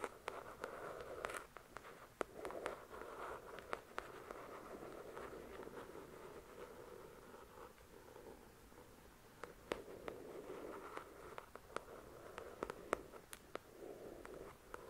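Long pointed nails tap and scratch the glossy card cover of a paperback novel, "The Shack," a solid paper book. Quiet, steady scratching with a soft midrange hiss is broken by scattered sharp, bright taps that stop instantly.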